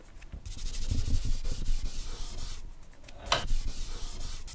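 A thick charcoal stick held in the fingertips is rubbed and scratched across a flat white drawing paper sheet in long drawing strokes throughout. The result is a continuous dry, scratchy rubbing with a low rumble underneath and a sharper, brighter scrape partway through.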